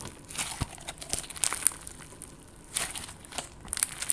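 Clear slime with confetti sequins, soft yet solid, is squeezed and pressed with fingers and long gold nails. It makes quiet, bright crinkling and crackling sounds with sharp little clicks and pops, scattered in uneven bursts.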